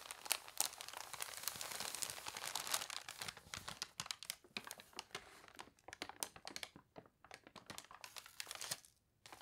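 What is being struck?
Newsprint newspaper.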